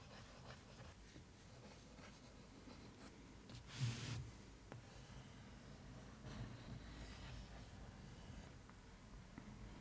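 A long nail traces and scratches across the flat, rectangular floral-printed cardboard lid of a suitcase box. Soft, steady scratching is heard, with two brighter, louder scrapes standing out against a low background hum.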